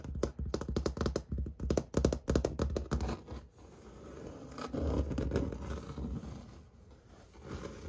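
Fingernails tap and scratch a large, flat interior wall with orange-peel textured white paint, probably drywall. For about the first three and a half seconds, quick, dull, uneven taps and short scrapes follow one another. After that, a continuous, softer scratching rasp across the textured surface lasts until the end.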